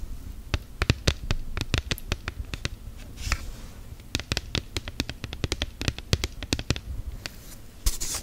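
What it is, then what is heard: Silicone phone case. Long gel nails tap and scratch an orange, hollow-backed silicone case on a smartphone. A rapid, uneven series of sharp clicking taps with a low, dull thump runs throughout, each dying away almost instantly. Brief hissy scratching swells in around 3.3 seconds and again at the very end.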